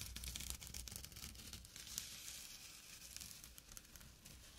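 Short nails scratch a small, flat burlap pouch with a drawstring. The result is a quiet, dense run of rough, bright scratching and crinkling across the coarse fabric, with a low rumble underneath.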